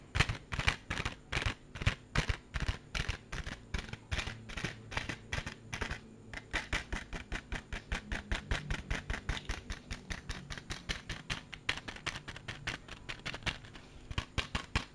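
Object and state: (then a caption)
Clear plastic compartment case. A small, hollow, clear plastic compartment case is held in the hand and tapped and scratched with the fingertips. Quick, dry, hollow taps follow one another steadily with almost no ring. Each has a bright click over a low plastic knock, and soft scratching runs between them.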